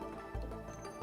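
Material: Nothing is struck.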